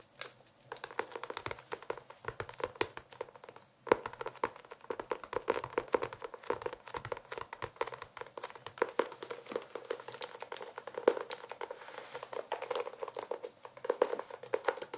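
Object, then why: Cloth-covered hardcover notebook. Fingertips tap and scratch across the cloth cover of a closed blue hardcover notebook held in the hands. The result is a dense, continuous stream of quick, dry, soft clicks and light scratches centered in the mid range, with almost no low end or ring. A brief pause comes just before four seconds, and then the tapping resumes steadily.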